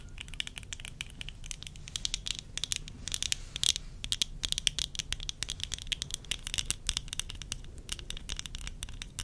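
Long nails tap quickly and steadily on the temple arms, rims and lenses of worn tortoiseshell plastic eyeglasses. The result is a dense run of bright, dry clicks with no ring, sitting over a faint low rumble.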